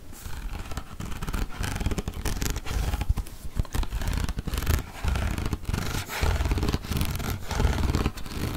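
A hollow, medium-sized turquoise plastic shampoo bottle is held upright and scratched and tapped with fingernails. The result is a steady run of dull, low, hollow knocks mixed with dry scratching that continues throughout the clip.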